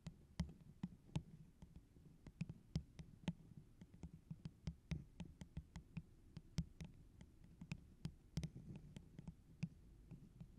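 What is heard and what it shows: Long orange acrylic nails tap the sides of a tall, hollow, empty holographic plastic tumbler with a pineapple print, apparently held over the microphone. About 34 quick, uneven taps each give a sharp bright click over a low, hollow thud that dies away almost at once.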